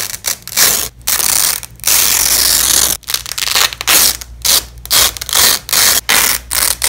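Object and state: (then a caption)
Nylon hook-and-loop tape being peeled. Gloved hands peel joined yellow and black nylon hook-and-loop (Velcro) strips apart on fabric, making bursts of bright, crackling, ratchet-like ripping. The rips come in quick successive pulls with brief pauses between them, mostly high in tone with almost no low end.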